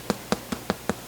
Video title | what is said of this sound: How to Make Rustic Italian Bread - Hearty Soups & Rustic Breads - Homemade Italian Bread Recipe | you tap it on the bottom as a nice Hollow sound which it does